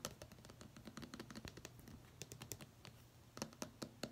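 A small hard plastic sunscreen stick container, held upright, is tapped rapidly with long pink fingernails. Quick, dry clicks with a bright edge run through the clip, with fainter scratchy contact between the louder taps. Each tap dies away almost at once.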